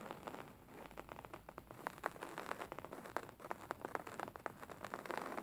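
Fingertips and short nails scratch and tap a beige woven linen fabric cushion lying flat. The result is a soft, continuous crackly rustle broken by many quick, sharp ticks in the midrange, with little low end and no ring after each tap.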